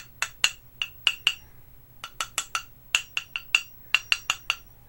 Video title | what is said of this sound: Honing On My New Kiita 'Nat | I'm just tapping that you can hear like it sounds pretty nice to me